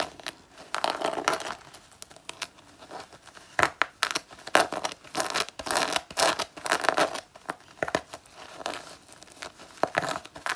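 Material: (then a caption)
Faux leather. Long natural nails claw and scratch across the front panel of a worn black faux leather jacket, its soft synthetic leather already scuffed. The result is a dense run of dry, raspy scrapes and crinkling strokes. The strokes are bright and mid-focused, with almost no low end, and they come in bursts that rise and fall in loudness.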